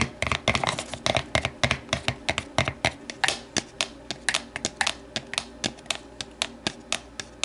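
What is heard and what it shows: An empty, hollow, translucent plastic deli container stands upright while a hand inside taps and scratches its inner walls and long nails tap the outside. About 36 quick, dry, bright clicks arrive in an uneven stream over soft scratching, each dying away almost at once with a light hollow tone.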